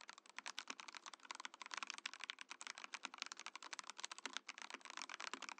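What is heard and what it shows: Fingertips type rapidly on a compact Mojo68 mechanical keyboard with a translucent clear plastic case and plastic keycaps. A dense, steady run of short, bright plastic clacks with almost no low end follows, each keystroke dying out instantly.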